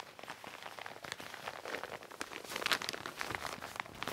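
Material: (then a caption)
Nylon. Long nails and fingertips tap and scratch across the shiny, foil-like surface of a soft, padded, medium gold metallic quilted nylon puffer-style bag lying flat on a table. The result is a quiet, dense, rain-like patter of bright, crinkly ticks and scrapes with almost no low end, swelling slightly louder partway through.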